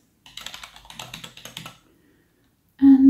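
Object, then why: Plastic computer keyboard. Fingertips of both hands in fingerless glitter gloves type rapidly on a solid, full-size black plastic mechanical-style keyboard on a desk, producing about 15 quick, bright clicking key taps over about a second and a half. After a short silence, a loud, steady, low-pitched tone starts abruptly at the end of the clip.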